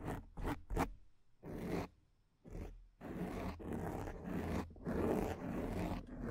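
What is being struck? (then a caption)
Foam microphone windscreen. Long nails on both hands scratch and rub a black foam microphone windscreen, making dry, rasping, zipper-like scrapes that sound close and full. Three quick strokes open the clip, followed by longer rubbing passes that run together into an almost continuous, uneven scratching to the end.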